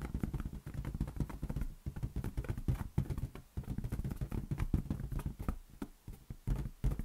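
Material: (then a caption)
Latex. A large, inflated, lime-green rubber latex balloon, hollow and air-filled, rests on an open palm while the other hand's fingertips tap it rapidly, with an earphone cable lying on the table below. The taps come as a fast, uneven stream of soft, dull, low thumps with almost no ring, each dying away at once.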